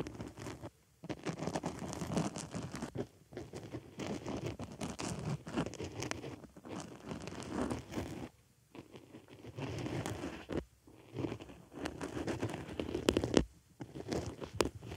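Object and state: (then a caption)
Foam makeup sponge being scratched. A white foam makeup sponge rests on a microphone ear while a wooden stick scratches inside a hole in the porous foam. The result is dense, muffled scratching and rustling that comes in bursts separated by brief pauses, with most of its weight in the low and middle range.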